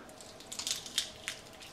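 Dehydrated peppers are crushed by hand, giving a bright, dry crackling made of short crisp snaps with almost no low end. They are crisp and dry enough to grind into powder without moisture or mold.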